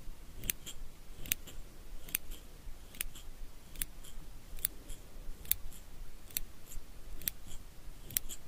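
Small steel eyebrow scissors with curved blades are held in the fingers and repeatedly opened and snipped shut. Each cycle gives a crisp, bright metallic snip followed closely by a fainter click, repeating in a steady rhythm at a soft level. Each snip dies away almost instantly over a low, quiet background rumble.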